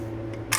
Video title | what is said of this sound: 1/14 rc4wd heavy tonnage | this is actually aluminum but it sounds like plastic